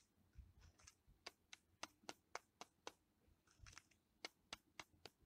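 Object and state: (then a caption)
Solid tree bark tapped. Fingertips and nails tap and scratch the grey-brown, vertically ridged, flaky bark of a solid living tree trunk. Soft rustling scratches open each half, followed by a steady run of sharp, dry, bright clicks, seven and then four, each dying away almost instantly, all at a quiet level.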